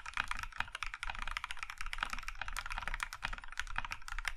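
Fingertips of both hands type steadily on a compact mechanical keyboard with cream plastic keycaps in a maroon metal case. The result is a dense stream of short, clacky keystrokes with a bright mid-range click and a low thock underneath, each dying away almost instantly.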